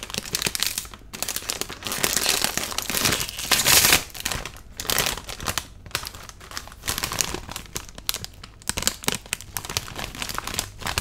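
A medium-size green metallized-plastic Lay's potato chip bag, apparently full of chips, is held and crinkled with the fingertips, possibly being torn open at the top. It makes dense, bright, crackly crinkling in quick bursts, loudest and harshest around two to four seconds, with short pauses between the rustles.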